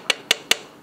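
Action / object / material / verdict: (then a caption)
tap / steel truck wheel nut struck with an inspection hammer / steel / tight. A tightened steel truck wheel nut is tapped three times with an inspection hammer, for comparison with a loosened nut. Each tap gives a short, bright, high metallic ping that dies away almost at once, the sound of a properly tight nut.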